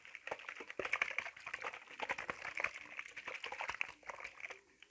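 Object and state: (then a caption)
Plastic spray bottle shaken with water inside. A clear plastic spray bottle with a black trigger head, hollow and partly filled with water, is held in one hand and shaken. It gives a rapid run of bright, dry sloshing clicks and taps, strongest around 2 kHz with almost no low end. The shaking trails off quietly at the end.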